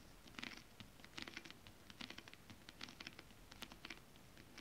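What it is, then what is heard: Holographic scale-print fabric tapped with nails. Long acrylic nails tap and patter irregularly on flat holographic mermaid scale-print fabric. Quiet, crisp, bright clicks come in uneven bursts, with a faint scratchy texture and almost no ring after each tap.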